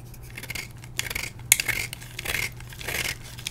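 A metal blade carves a solid blue-and-white dyed gym chalk block held in the hand, shaving it into brittle flakes. Bright, dry scraping strokes come in uneven bursts, with crisp crackles and a gritty hiss centered near 2.2 kHz. A faint low hum runs steadily underneath.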